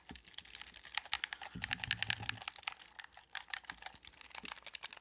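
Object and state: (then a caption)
Plastic game controller buttons. Fingertips rapidly click and tap the buttons of a blue hollow plastic gamepad held close to the mic. The result is a dense run of sharp, bright plastic clicks that die away instantly, with a faint low hum partway through.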